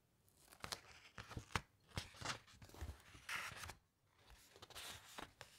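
Fingertips with long nails rub across the thick paper pages of an open hardcover encyclopaedia and turn to the next spread. Dry, scratchy rubs and quick, crisp flicks mix with bright papery hiss and soft low thumps, with short quiet gaps between strokes.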